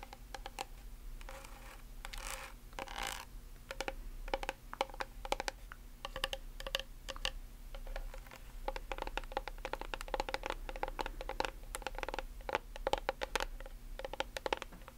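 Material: Plastic.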